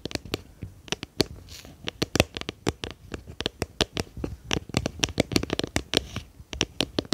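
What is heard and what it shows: Long painted nails tap and scratch the sides of a small, round, clear plastic jar with a lid, hollow and apparently empty, held in both hands behind the microphone. A rapid, uneven run of sharp, dry clicks with bright tops and very short decay is heard, mixed with faint scratchy rustling between the taps.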